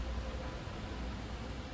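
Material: Nothing is struck.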